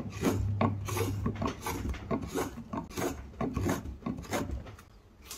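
A hook knife repeatedly scrapes and carves the inside of the hemispherical hollow in a square pine block, piling up shavings. Quick, uneven rasping strokes of dry wood scraping follow one after another, with a low hum underneath.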